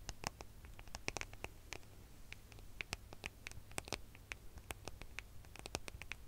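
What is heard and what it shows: Fingernails rapidly tap and scratch the back of a gold smartphone with a metal and glass body, held horizontally and then tilted beside the microphone. Dozens of quick, sharp, bright clicks and scratches ring out over a steady low hum, each dying away almost instantly.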